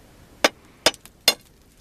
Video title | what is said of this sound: Chalk Mountain, Continued Mining Tour | it has a hollow sound to it